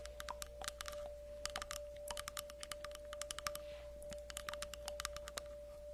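Long acrylic nails tap and scratch across the cut face of a solid round tree log slice, about 20 cm across with a bark rim, held in both hands. Quick, dry, bright clicks and short scratches come in rapid, uneven bursts, each dying away almost at once. A steady tone near 590 Hz and a low hum run underneath throughout.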